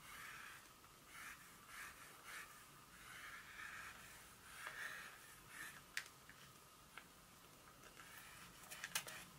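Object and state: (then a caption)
Dark chocolate bar tapped with nails. Long nails tap and scratch across the segments of a solid dark chocolate bar held in a hand. Soft, bright scratching strokes swell and fade over and over, with a few sharp, crisp taps standing out near the end. The sound stays quiet and high-pitched, with almost no low end.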